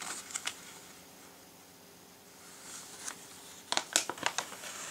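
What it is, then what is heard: Glossy paper catalogue. Fingertips lift, flip and rub the thin glossy paper pages of a large printed Christmas catalogue lying open on a table. Bright, crisp paper rustles and short flicks open the clip, fade to a quiet stretch, then return as a cluster of sharp crinkling snaps near the end.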